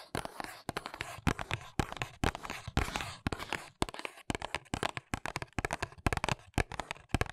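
Long nails scratch and tap the printed back of a small white paperboard press-on nails box held in both hands. Dozens of quick, dry taps and scratchy bursts follow one another in an uneven rhythm, with brief gaps between flurries.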